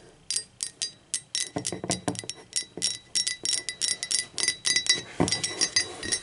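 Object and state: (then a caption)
Ceramic mug tapped with fingernails. Long acrylic nails tap the body and rim of a hollow, empty, speckled teal ceramic mug lying on its side. The result is a quick, uneven run of bright clicking taps with a short glassy ring near 3.9 kHz. Some taps add a duller, lower knock.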